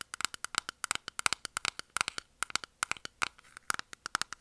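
A small, round, closed clear plastic makeup puff container holding pink puffs is held in hand and tapped and scratched with long nails. It makes a rapid run of sharp, bright plastic clicks centered around 1.4 kHz with crisp high overtones, each dying away almost instantly. Faint scratching fills the gaps between the taps.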